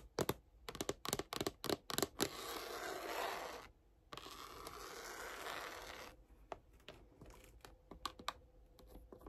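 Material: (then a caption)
Faux leather. Long pink-and-yellow acrylic nails tap and scratch a large, closed, hollow red faux-leather photocard binder held upright, working over its cover and the grey rubbery trim along the edge and spine. A quick run of sharp, dry taps gives way to two sustained, bright scraping strokes across the cover, then lighter, scattered taps fade out.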